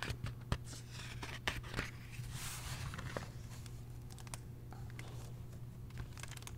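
Fingertips turn and rub the thick printed paper pages of a large open hardcover history book. Soft rustling and crinkling swell and fade, broken by a few sharp page flicks, over a steady low hum.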